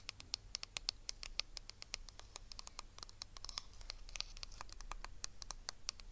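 Long red nails rapidly scratch and tap the hollow, glossy plastic back of a small hand-held hairbrush with bristles, held close to the microphone. The result is a quick, uneven patter of sharp, bright clicks over a soft, steady low rumble.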